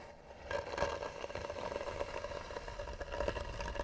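Long natural nails scratch slowly and hard across the flat lid of a closed, hollow tan wooden box with a carved edge. After a quiet start, a continuous rough scraping begins at about half a second, carrying a steady hollow tone near 550 Hz with bright, grainy texture throughout.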